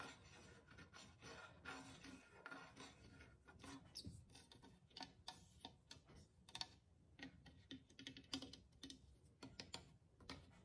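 A long fingernail scratches near the base of the painted, glazed ceramic body of a small hollow clay drum with a skin head, one of a tied pair. The result is a quiet, dry, scratchy rasp of many quick, bright ticks and scrapes with a faint high glassy glint, each dying away almost instantly.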